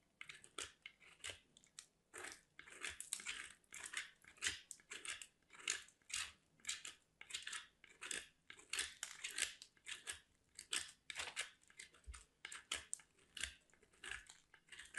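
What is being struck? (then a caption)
Solid soap bar on a steel box grater. A piece of white solid soap is scraped against a small stainless steel box grater by a hand with long black nails in a steady grating motion. Quick, bright, crunchy rasps repeat about every half second to a second at a quiet level, each stroke dying off almost instantly with little low-end body.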